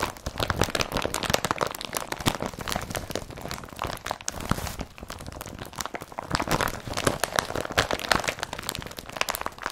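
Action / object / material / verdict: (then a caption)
scrape / woven polypropylene carrier bag / polypropylene / none. An empty blue IKEA BRATTBY carrier bag made of woven polypropylene is rolled up, then squeezed and twisted with both hands. This produces a dense, continuous run of crisp crinkling and crunching with bright, scratchy texture. Short plastic crackles pile up steadily throughout, with no ringing.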